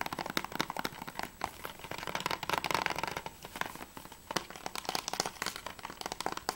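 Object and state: Plastic game case.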